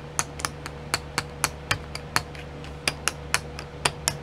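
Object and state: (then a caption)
Plastic sequin pots. Long nails tap the lids of twelve small clear plastic pots filled with sequins, sitting in a pink tray. Seventeen sharp, bright clicks with very short decay come at an irregular pace, with a pause near the middle, over a steady low hum.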